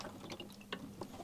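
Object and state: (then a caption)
Coolant reservoir tank still holding liquid. Liquid sloshes inside the big black plastic coolant reservoir tank from an Apollo HL8 cosmetic laser unit as the tank is handled, showing it still holds fluid that may be water or coolant. Several soft splashing surges rise over a low steady hum.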